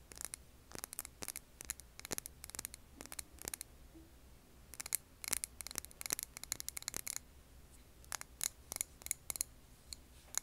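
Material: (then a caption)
Glass. A clear glass jar filled with a wax candle is tapped with long nails in quick bursts of sharp, bright clicks that stop almost instantly. The taps come in irregular clusters over a faint, steady low hum.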